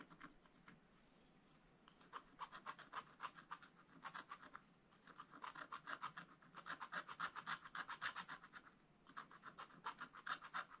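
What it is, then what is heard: Scratch-art paper being scratched. A wooden stylus scratches fill strokes into the black coating of a scratch-art book page, working over a bunny figure. Quick, short rasping strokes come in bursts with brief pauses between them, each stroke a dry, bright scrape.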